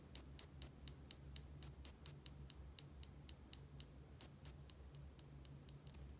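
A small plastic bottle with a white dome cap, held in the fingers, is tapped and scratched with long nails, giving 24 evenly spaced, sharp, bright clicks. Each click stops almost instantly over a quiet, steady low hum.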